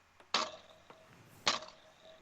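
A hand flicks the eye trigger of a haunted ventriloquist-style dummy, and its metal eye spring gives three sharp, bright metallic snaps with a short springy twang. The first and last snaps are strongest, with a faint click between them. The spring shows the eyes are spring-loaded and snap back to center, so they cannot stay looking left or right on their own.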